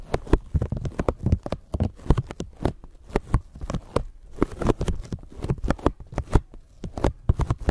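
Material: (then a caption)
Plastic. A thin clear plastic bag stretched over a microphone is crinkled with long nails and fingertips, giving a steady run of short, sharp crackles and rustles. Each burst is dry and brief, reaching up bright, over heavy low thumps, which may be handling noise from the microphone underneath.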